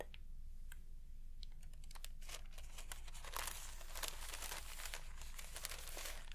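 A single large sheet of thin, translucent rice calligraphy paper, painted in black ink with the character 龍, is held up in both hands and crinkled and rubbed close to the mic by fingertips with long black-painted nails. Soft, bright crackles and crinkling bursts come in uneven clusters, growing denser midway, over a steady low hum.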